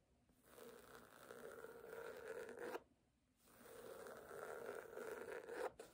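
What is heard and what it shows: Long nails scratch the cover of a red cloth hardcover book lying flat. Two long, raspy strokes rise and build over a couple of seconds each, with a scratchy midrange tone around 540 Hz and a faint high hiss. Each stroke ends in a sharp catch, followed by a brief tick at the very end.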